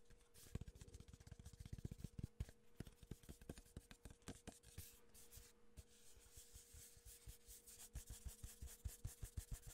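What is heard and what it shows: Fingertips and nails rub and scratch along the printed side of a tall, hollow, cylindrical cardboard gift tube with a metallic lid and a ribbon handle, held in one hand. Rapid, dry scratching strokes produce a dense run of short, hollow, low thumps with faint bright rasp, over a soft steady hum.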